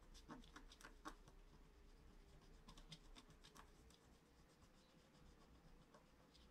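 A wooden stylus held in the fingers scratches lines into the black wax coating over foil on a flat A4-size scratch-art card lying on a cloth-covered table. Quick, irregular, dry scratching strokes are sharper and louder at first, then settle into softer, steadier scraping. A faint low tone drifts steadily underneath throughout.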